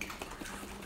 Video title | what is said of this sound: Natural Yeast | it bubbles up almost like a soda all that carbon dioxide bubbling out of there